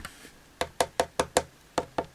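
Knuckles knock on a 29 cm Nemesis Now Sister Mortis nun figure, a cast decorative piece that is completely hollow underneath with no felt pads. After a couple of faint taps, eight short, dry, hollow knocks ring briefly with a mid-range tone. The figure sounds as hollow as it gets, marking it as extremely cheap.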